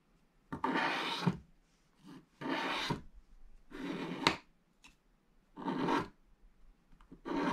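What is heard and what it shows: A wooden stylus scrapes the remaining black coating off near the edges of a thin, flat scratch-art page lying in an open book, leaving scraped flakes gathered around the page. A series of dry, rasping strokes is heard, each a bright, hissy scratch separated by short quiet pauses, at an uneven pace.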